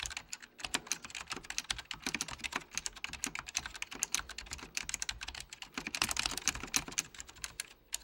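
Typing with the fingertips of both hands on a full-size beige plastic Apple Extended Keyboard II with mechanical key switches, under red-blue lighting. Dense, bright, clicky keystrokes come in rapid, uneven bursts for about eight seconds, each click short and dry with almost no low end.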